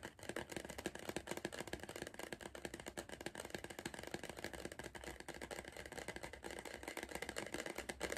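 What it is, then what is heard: Cardboard crisp tube. Fingertips drum rapidly on the side wall of an upright, hollow Pringles cardboard crisp tube. The result is a steady stream of quick, dry, hollow taps with a midrange body and a bright edge. Each tap fades almost instantly over a faint low hum.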